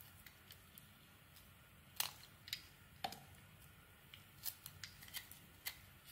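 A hand-sized, solid rectangular bar of white soap with a purple glitter coating, held in the hand, is scraped and carved by a utility knife blade that shaves pieces off it. Thirteen short, bright, crisp scraping and cutting sounds come at irregular intervals, each dying away almost at once over a faint low hum.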